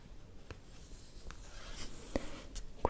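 Fingertips and long nails rub and scratch across the glossy cover of a paper magazine with a perfume ad, held close. A quiet, steady papery rustle is broken by several short, sharp scratch and tap sounds, with the loudest near the end.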